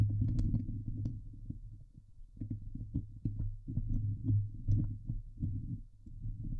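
Fingertips and nails scratch the hollow steel mesh dome grille of a Blue Yeti microphone. The result is a steady run of deep, muffled rubbing and scraping strokes with a low hum underneath, and occasional faint brighter ticks from the nails. The sound swells and fades with short dips between passes.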